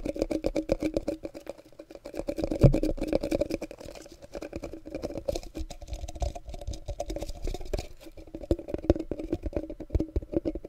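A small hollow clear glass jar with a yellowish metal lid is held in both hands close to the microphone. Fingertips and short nails tap and scratch its glass sides and lid in a dense, rapid flurry of soft clicks and taps. The tones are dull and mostly low to mid, with a brief louder knock near the third second.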